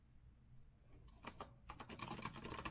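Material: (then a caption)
Plastic. Both hands type with their fingertips on a rose-gold retro Azio mechanical keyboard with a metal frame and round plastic keycaps. After about a second of faint low hum, a few separate sharp clacks come in, then a quicker, denser run of bright, short key clicks.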